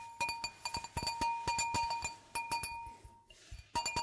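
An empty, clear, hollow stemmed wine glass is held on its side and tapped with long nails along the bowl and stem. A quick, uneven series of light clinking taps rings out, each leaving a clear tone near 930 Hz with bright overtones that fade over about half a second. A brief quieter stretch follows before the tapping resumes.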